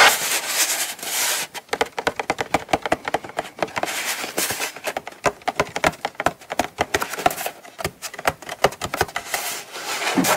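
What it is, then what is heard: Cardboard gift box. Long almond-shaped acrylic nails tap and scratch the lid surface and edges of a small, hollow brown kraft cardboard Coach gift box held in both hands. A steady, bright scratching rasp gives way to rapid, dry clicking taps with almost no low end, interspersed with short bursts of scraping.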